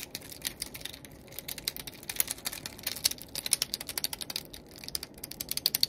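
A small, solid, palm-sized yellow translucent plastic fidget cube is held in both hands while fingertips click and flick its buttons and switches. The result is a rapid, uneven stream of sharp, dry, bright clicks with almost no low end and no ring after each tap, coming in quick flurries with brief lulls between them.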